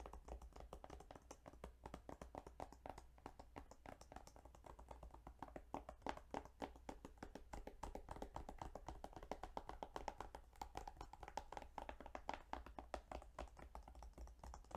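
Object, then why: Plastic video game case. Fingertips tap rapidly and continuously on a plastic Yu-Gi-Oh! Duelist of the Roses video game case for about fifteen seconds. Each tap is a short, dry click with a hollow tone around 800 Hz that dies away almost at once. A steady low hum runs underneath.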